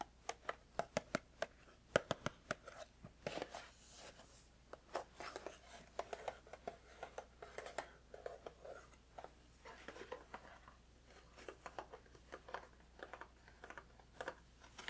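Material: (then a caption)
Cardboard. A small, hollow, rectangular cardboard Celestial Fruit Tea Sampler box that appears filled with tea bags is held in the hand and tapped with the fingertips. The quiet, dry, hollow taps come in quick irregular bursts with a papery rustle in between. Each tap dies away almost instantly, leaving a mid-pitched, muted knocking.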